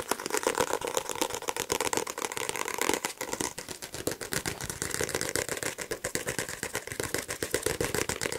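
A solid paperback copy of "The Power of Now" with a glossy card cover, held in one hand, is rapidly tapped and scratched on the cover with fingertips and nails. The result is a dense, fast stream of dry, crisp clicks and scratchy friction with bright highs, almost no low end, and no ring after each tap.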